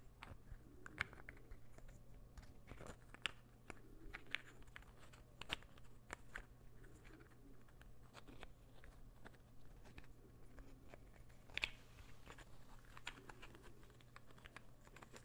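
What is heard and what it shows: A light-wood puzzle ball made of solid pieces, held in the palm, is tapped and scratched with the fingers. Short, dry, bright clicks with almost no ring come at irregular intervals, with soft scratchy rustling between them. A steady low hum runs underneath.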